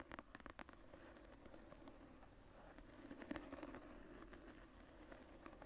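Long nails scratch and tap the tooled brown leather cover of a closed journal, moving over its embossed floral relief. Soft, quiet scratching runs throughout, punctuated by irregular, crisp light taps that rise briefly above the dull, low-mid rustle.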